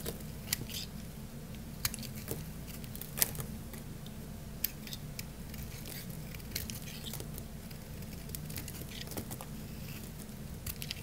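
A solid, dry orange bar of soap held in the hand is shaved with a craft-knife blade into thin curls. Soft, crunchy scraping clicks and sharp, bright ticks come irregularly over a steady low hum.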